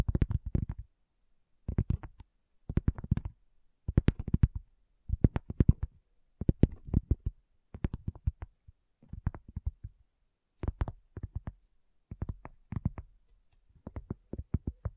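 Long fingernails of both hands tap on a solid, round, flat cork coaster in quick bursts separated by short pauses. Each burst is a rapid run of dull, low, soft clicks that stop almost instantly with no ring.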